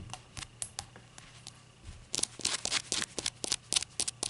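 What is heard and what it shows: Long acrylic nails tap a small, hollow, empty-looking ceramic shot glass with a rainbow glaze and an unglazed white base, resting on a towel. Soft, sparse clicks in the first half give way to louder, quicker, irregular taps. Each tap is a bright, dry tick with almost no ring.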